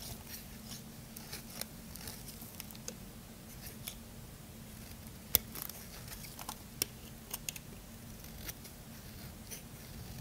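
A small metal blade carves along the edge of a solid white bar of soap in scraping strokes. Quiet, crisp, bright scrapes and sharp ticks come at irregular intervals over a low, steady hum.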